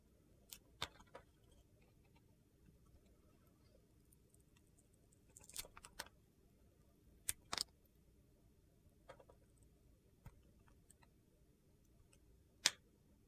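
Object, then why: Bar of soap carved with a knife blade. A hand-held solid yellow bar of soap with gold glitter and a white interior is scraped and carved with a metal utility knife blade. Short, crisp, bright scraping clicks and crunches come in scattered bursts over a faint low background hum. The last cut near the end is the loudest.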